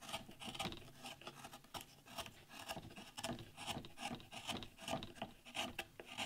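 A chisel shaves and scrapes a solid wood board, relief-carving a damask rose leaf into a wooden panel as chips fall away. Repeated short, dry rasping strokes carry bright, hissy texture with a mid-range scratch, each stroke fading quickly between cuts.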